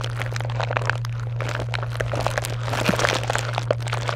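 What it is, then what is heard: Foil and plastic candy wrappers crinkling. A box of small chocolate bars in foil and plastic wrappers is scratched and pressed by long nails, giving dense, crisp crinkles and crackles throughout. A steady low hum runs underneath the whole time.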